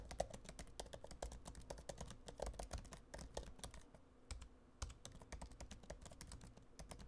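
Fingertips type steadily on a MacBook Pro laptop keyboard with plastic keys in an aluminum body. Quick, soft clicking taps follow one another with short bright transients, a low thud beneath each press, and a brief lull partway through before the typing resumes.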